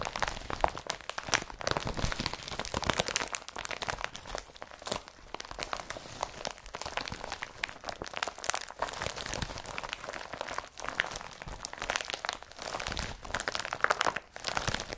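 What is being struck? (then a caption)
Woven polypropylene carrier bag. An empty blue IKEA BRATTBY woven polypropylene carrier bag is rubbed and crumpled by hand, giving dense, continuous crinkling and crunching with many short, sharp crackles. The sound is bright and papery, with little low end, and stays busy for the whole clip.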